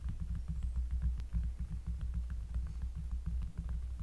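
Fingers tap rapidly and unevenly on a cork surface, recorded close up. The result is a dense stream of deep, bassy thuds centered around 78 Hz with short decays and faint higher clicks above the low rumble.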